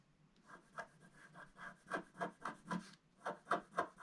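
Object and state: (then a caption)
Wax-coated scratch art card being scratched. A wooden stylus scratches the lower roof area of a black, wax-coated scratch art card lying flat. A run of short, dry, rasping strokes comes in a fairly steady rhythm, centered in the midrange with a bright scratchy edge. There is a brief pause near the three-second mark before the strokes resume.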